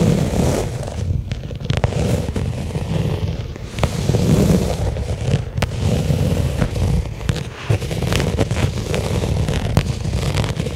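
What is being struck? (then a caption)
Small flat leather case. A small, flat black pebbled-leather case lying on carpet is tapped steadily with fingertips and nails. The taps give soft, dull low thuds with a faint crackle, broken by sharp, bright clicks from the nails that die away almost at once.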